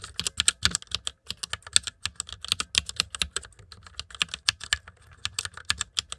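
Fingertips tap steadily on the keys of a backlit white plastic mechanical keyboard. Each keystroke gives a crisp, bright click that dies away at once, with little low end, forming an uneven rhythm of quick taps and short pauses.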